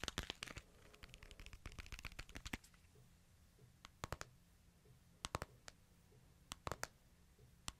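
A small, flat, solid white-and-silver smartphone with a glass screen is held in the hands while fingertips and nails tap and click on its screen and back. A quick flurry of sharp, bright clicks fills the first two and a half seconds, then sparser single and paired taps follow, each dying away almost instantly over a faint, steady low hum.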